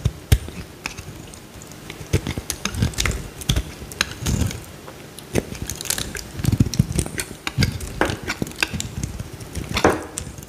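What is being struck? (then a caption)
Solid bar of soap cut with a metal blade. A metal utility knife blade carves a small, solid, cream-colored bar of soap held in the hand, chipping off flakes. Sharp, crisp clicks and brief scraping cuts come in an irregular stream, with bright high edges over soft low thumps. Each sound dies away almost instantly.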